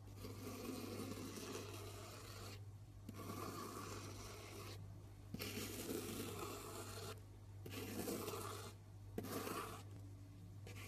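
A knife blade scratches and scores lines into the surface of a solid, round pink soap bar with a stamped logo. It makes a series of dry, rasping scrapes separated by short pauses, with a steady low hum underneath.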